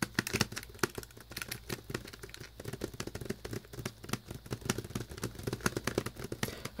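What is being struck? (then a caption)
Plastic VHS clamshell case with glossy sleeve. Fingernails tap rapidly across the front cover of a hollow plastic Winnie the Pooh VHS clamshell case with a glossy plastic sleeve over the cover art. The taps are short, dry clicks with a bright edge and little ring, over a steady low hum.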